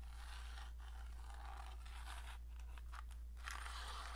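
Long painted nails scratch the sides and ends of a small rectangular printed cardboard matchbox with a red and green label as it is held and turned in the hand. The result is a quiet, continuous dry scraping with bright, papery texture and brief pauses, over a steady low hum.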